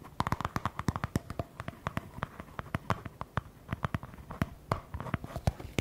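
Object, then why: Small plastic cream jar. Fingernails rapidly tap and scratch the sides of a small round white plastic cream jar with a label, held in the hands. Dozens of quick, dry, clicky taps with a hollow low thump land in an uneven rhythm, with soft scratching in between. Each tap dies away almost at once.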